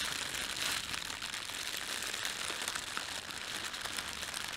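Fingertips press, rub and crumple the film of an empty, thin red printed plastic bread bag. The result is a steady, bright crinkling and crackling that stays concentrated in the high range, with almost no low end.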